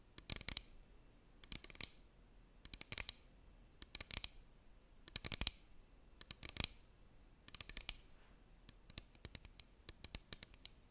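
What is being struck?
Small plastic bottle with cap, partly filled.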